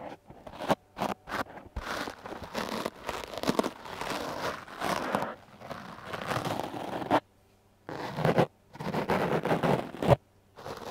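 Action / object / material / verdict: scrape / foam microphone windscreen brushed with a stiff bristle brush / foam / none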